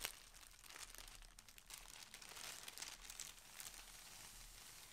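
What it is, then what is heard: Thin plastic polybag crinkling. A thin clear plastic polybag garment bag holding a folded yellow shirt lies flat on a table while fingertips and nails press, crinkle and pull it open. The result is a quiet, steady, bright crinkling and rustling with brief, sharper crackles and almost no low end.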